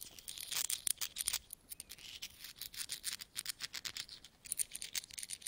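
Fingertips pick up and rub together coins from a large pile of mixed small solid metal coins (copper, brass and nickel) spread on a carpet. A quiet, bright run of rapid clinks and jingling scrapes is heard, with almost no low end and no ringing. Louder bursts of clinking come near the start and again near the end.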